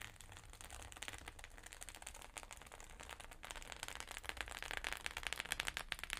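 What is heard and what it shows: Long pink nails tap quickly on the plastic sequins of a flat rainbow sequin fabric pouch. The result is a dense, rapid stream of crisp, bright clicks with a low rumble beneath, growing louder and sharper over the last few seconds.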